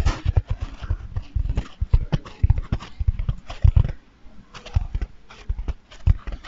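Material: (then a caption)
Foam. A hand-sized, soft, dry, light-blue porous foam bath sponge is held in both hands close to the microphone and squeezed, rubbed and scratched with fingertips and nails. It makes a steady run of muffled, low, thumping crackles and scratchy rustles in uneven bursts, with brief quieter gaps between them.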